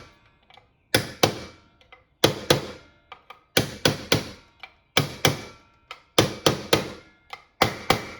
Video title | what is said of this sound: Toyota 4Runner 8" V6 Axle Rebuild Part 4 - Wheel Bearings | once it was seated all the way you could tell the difference in the sound and that's how you know it's in all the way